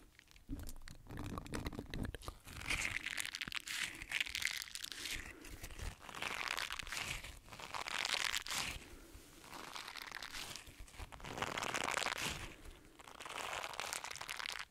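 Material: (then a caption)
Silicone. A green silicone bristle scrubber is held in both hands while fingertips scratch and rub across its bristle side. The result is a dense, bright, crunchy crinkling scratch that rises and falls in several swelling bursts over about 15 seconds.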